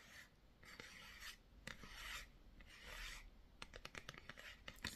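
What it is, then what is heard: Cardboard box scratched. Fingernails scratch and rub along the side of a small, hollow blue printed cardboard Hydro Grip primer box, likely with the product inside. Long, soft rasping strokes come first, followed by a run of quicker, sharper scratches near the end.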